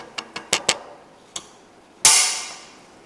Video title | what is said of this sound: How to Use the TB-1929A Head cup and BB removal tool | that sound lets you know that the tool is properly seated into the bearings